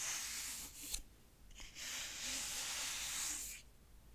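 A closed grey clothbound hardcover of Frankenstein is held in one hand while fingertips tap and rub its textured cloth front cover. Bright, hissy scratching from the rubbing fills most of the clip, with one short tap near the one-second mark and a quiet pause before a longer rubbing stroke.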